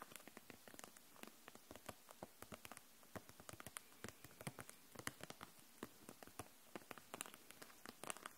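Long nails tap along the caps of dual-tip markers packed into a clear plastic case held upright, and along the case itself. Quiet, rapid, irregular clicks with a bright edge die away almost instantly over a faint, steady hiss.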